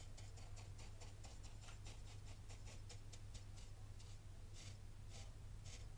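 A black rake is dragged and rubbed in circular strokes through the loose grains of fine white sand in a tray. It makes quiet, repeated bright, crisp scraping bursts over a steady low hum.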